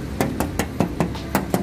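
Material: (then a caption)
Steel. Seven quick knocks on the bare steel body panel of a Feroza Independen (1994–96) give short, dull, low-pitched thuds with almost no ring, over a steady low background hum. The body has no filler at all and is judged excellent.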